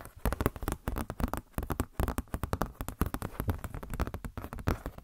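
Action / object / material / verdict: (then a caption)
scrape / glossy paper catalog booklet / glossy paper / none. Long nails and fingertips scratch and flex a glossy paper Blizzard Shop catalog booklet. Rapid, close crinkling and scratching bursts follow one another without pause, soft and dull with most of their weight in the low range.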